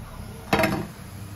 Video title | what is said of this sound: Suji vade (Rawa vade) ll रव्याचे वडे ll Madhuri Ghadge | खणखण आवाज येतो ना क्रिस्पी पण झालेत